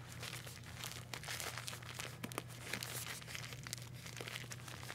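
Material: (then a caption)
Plastic. A roll of pastel plastic decorative mesh ribbon on a hollow cardboard core, about 25 cm long, is held and turned in the hand while fingers with long painted nails rub and squeeze the mesh. It gives a continuous bright, dry crinkling with quick crackly bursts over a steady low hum.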